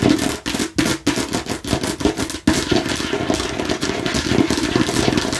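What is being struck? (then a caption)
Plastic watermelon-slice container. Long fingernails rapidly tap a hollow, hard plastic watermelon-slice container held in one hand. Bursts of quick, clicky taps with a hollow mid-range tone are broken by brief pauses at first, then run together into a continuous, dense stream of bright clicking.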